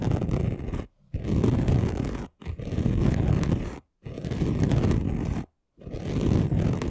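Short nails and fingertips of both hands scratch fast across a flat chunky gold glitter craft sheet lying on a table. The result is a dense, rough, low-heavy scraping texture in five long bursts separated by brief silences.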